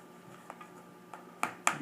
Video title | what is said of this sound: Simmons speed skating casting instructions | it's starting to get hard now pretty hard you can hear it